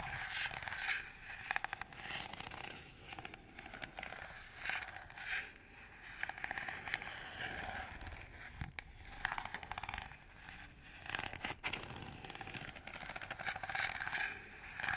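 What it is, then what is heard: Plastic colander, scratched. A hollow, empty green perforated plastic colander is held up near the microphone and scratched with fingernails across its ridged slots. The result is bursts of dry, bright scraping and rapid clicking ticks, with a mid-high rasp and very little low end.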